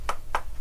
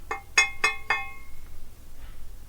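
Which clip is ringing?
The second.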